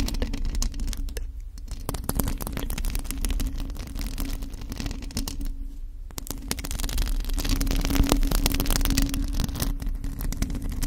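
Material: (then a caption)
Metal mesh. Long acrylic nails on both hands scratch a hollow black metal mesh microphone grille. The result is a dense, continuous scratching with heavy low rumble, bright crackling strands on top, and a steady low hum. It grows a little louder in the second half.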